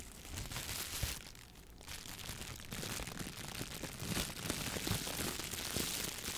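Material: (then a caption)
Plastic. A clear, thin plastic shower cap is crumpled in one hand, then held open and stretched between both hands while the fingers squeeze and crinkle it. The sound is a dense, irregular crackle of bright, crisp plastic crinkles over a low rumble, with a brief quieter lull partway through.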